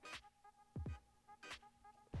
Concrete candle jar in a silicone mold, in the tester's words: Do you hear that? It's already ready to be demolded.